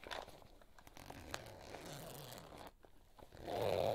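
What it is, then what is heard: Fabric pouch zipper being opened and closed. Fingers pull the zipper of a small pink floral coated-fabric cosmetic pouch open and closed, producing a soft, crinkly zipper rasp with faint ticks. It ends in a louder, steadier rasp centered around 500 Hz.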